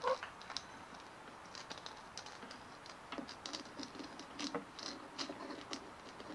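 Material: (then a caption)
Plastic. Long nails tap and scratch a white hollow plastic ball with a dimpled surface, held in both hands. Quiet, quick clicky taps mix with soft, bright scratching, with a faint hollow tone near 500 Hz on the loudest early taps. Each tap dies away almost at once, leaving little low end.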